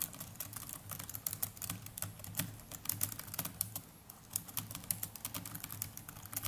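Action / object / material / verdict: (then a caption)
tap / plastic laptop keyboard keys / plastic / none. A small black netbook's plastic chiclet keys are typed continuously with the fingertips of both hands. The result is a rapid, uneven stream of short, bright clicks that stop dead with no ring, over a steady low hum.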